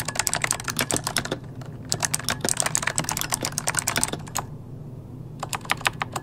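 Both hands type rapidly with their fingertips on an RGB-lit plastic mechanical computer keyboard with hollow key switches, resting on a desk. Dense, bright, clicky key presses come in quick bursts, broken by two short pauses, with a faint low hum underneath.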